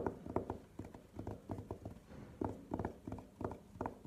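Long nails tap and scratch the velvet lid of an elongated, hollow, hard burgundy velvet-covered jewelry case lying on a table. Quick clusters of soft, muffled, hollow-sounding taps die away almost instantly, with faint scratching between them and no bright edge to the sound.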